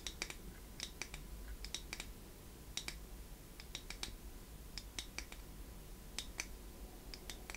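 A small, shiny pink chrome heart-shaped metal box, held in one hand, is tapped and scratched with long painted fingernails. The result is a quiet, irregular series of sharp, bright clicks and light scratches that die away almost instantly, over a steady low hum.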